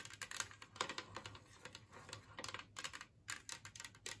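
Long nails tap and scratch across a large, flat, empty green glazed ceramic Christmas tree plate and its raised edges as it rests on a wooden table. The result is an irregular run of quick, bright, dry clicks with short scratchy strokes that die away almost instantly, over a faint steady low hum.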